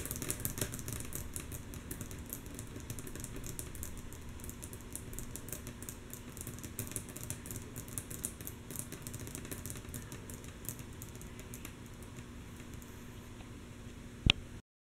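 Long natural nails of both hands tap rapidly and softly on a flat, solid, light wooden tabletop, making a steady stream of quiet, bright clicks over a faint low hum. Near the end, one sharp, louder click stands out before the sound stops.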